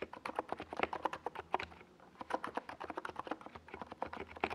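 A NiZ Plum Atom 68, a compact 68-key mechanical keyboard with a hollow white plastic case and purple and yellow plastic Domikey Gas Attack SA keycaps, is typed on with the fingertips of both hands while it rests on a desk pad. The result is a quick, uneven run of short, clacky midrange keystrokes with a brief lull near the two-second mark. Each press dies away almost instantly.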